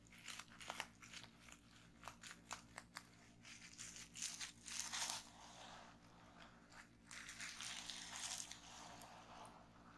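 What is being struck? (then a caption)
Plastic bubble wrap. Long painted nails and fingertips press, tap and pop a folded bundle of clear plastic bubble wrap resting on a wooden table. Sharp, bright pops and clicks come first, then longer stretches of crinkling and crackling plastic.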